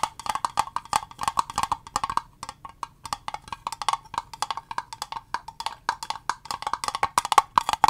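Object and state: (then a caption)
Clear plastic box. Long fingernails tap quickly on the faces and edges of a small, transparent, rigid plastic cube box with green contents inside. The result is a steady stream of dozens of dry, clicky taps with a woody, hollow tone centered around 1.1 kHz. Each tap dies away almost instantly, with a faint bright edge.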